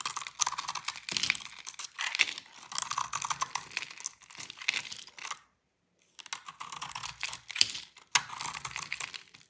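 A utility knife blade scrapes and shaves curls off a solid rectangular bar of dry soap with a purple and orange painted top, held in a hand with long pink nails, the shavings falling onto a patterned table. Dense, bright, crackly scraping rasps come in quick bursts, with a brief silent pause in the middle before the shaving resumes.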